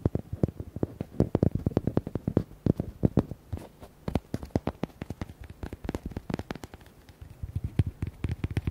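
A red, hollow, palm-sized rubber duck toy is tapped and scratched with fingernails. The result is a rapid run of sharp, dull taps with a low, hollow body and short scratchy bursts. They pause briefly near seven seconds, then pick up again.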